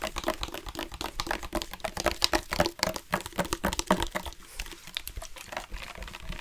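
A dark plastic sports water bottle with a loop cap and yellow-green accents, hollow and partly filled with water, is tapped and rubbed with the fingertips. The result is a fast, uneven stream of short, dry plastic taps and crinkly rubbing with bright, clicky highs and a soft low thump underneath. Each tap dies away almost instantly.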